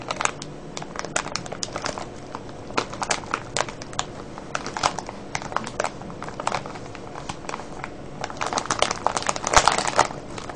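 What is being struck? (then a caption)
Cellophane bag of foil-wrapped candies. Fingers crinkle and scratch a clear cellophane bag full of foil-wrapped candies. A steady, dense run of sharp, bright crackles continues throughout, growing into a louder, busier burst near the end.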